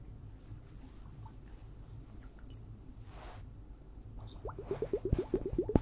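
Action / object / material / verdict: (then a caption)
tap / plastic water hourglass filled with liquid / plastic, liquid / none. A liquid-filled water hourglass is tapped. After about four seconds of quiet low hum, a rapid, uneven run of soft, squishy taps begins, each with a brief watery pitch that bends upward.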